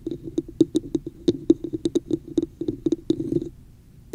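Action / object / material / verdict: tap / textured plastic cup / plastic / none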